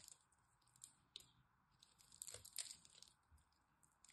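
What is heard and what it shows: A metal blade cuts cubes off the cross-hatched surface of a solid green dry soap bar held in the hand. The result is quiet, dry, bright scratching and crisp crunching in irregular bursts, each snapping off short with almost no ring.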